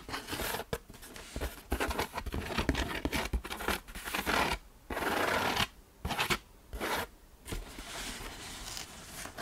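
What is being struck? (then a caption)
Corrugated cardboard box. An open hand and fingertips tap, rub and scratch across the front face of a large, closed, hollow corrugated cardboard shipping box resting on a shelf, its contents not visible. Quick dry taps with low hollow thumps mix with papery, bright scratching. Several longer, steady bursts of rasping rubbing stand out in the second half.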